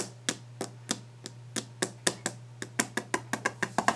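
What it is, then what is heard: Varnished wooden desk top. Long painted nails tap and scratch fast and hard on the solid, polished top of a varnished wooden desk. Seventeen short, sharp clicks ring out with bright, crisp attacks and almost no ring, each clicking with a woody tone centered near 700 Hz. The clicks come faster toward the end over a steady low hum.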